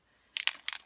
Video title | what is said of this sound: How to create a watercolor background with FSJ Color Splash | can you hear the the ball bearings the marbles in there